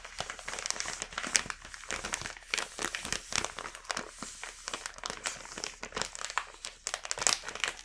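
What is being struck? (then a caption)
Plastic snack bag. A full plastic snack bag is tapped with a fingertip and turned over by hand, making a steady stream of bright, crisp crinkling. Many short, sharp crackles rise above a soft rustle throughout, with almost no low-end body and no lingering ring.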